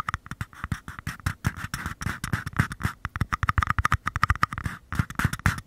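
Fingernails tap and scratch the flat paper bottoms of two identical small, empty paper cups held upside down close to the microphone capsules. A rapid, uneven run of hollow, low thumps comes through, each with a dry papery midrange click and a faint scratchy texture between them. Every tap dies away almost instantly with no ring.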